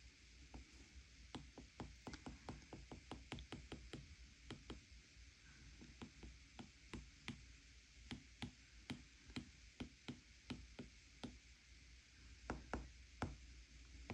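A fingertip taps the colour palette on the glass touchscreen of a flat iPad tablet, then a plastic stylus tip taps the picture. About thirty short, bright, dry clicks ring out in an irregular rhythm over a steady low hum.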